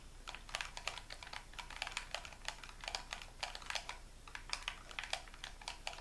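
A hollow white plastic gamepad, held in both hands above a wooden table, has its buttons pressed and clicked by fingertips and thumbs. The result is a rapid, uneven stream of short, bright plastic clicks with little low end, each dying away almost instantly.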